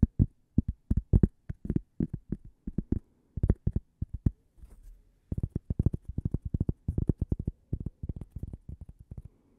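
A small, solid, flat toast-shaped cork coaster is held near the microphone and tapped and scratched along its edge and face with long purple nails. Quick clusters of dull, low, muffled taps stop almost instantly, broken midway by a brief soft scratching before the rapid tapping resumes.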